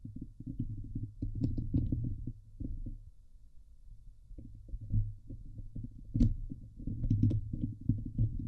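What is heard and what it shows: Long polished nails of both hands scratch the hollow domed steel wire-mesh grille of a Blue Yeti microphone, producing dense, rapid scraping and thumping that sounds heavy and bass-rich up close. Occasional brighter ticks cut through, and a quieter stretch of lighter rubbing comes just after the midpoint before the intense scratching resumes.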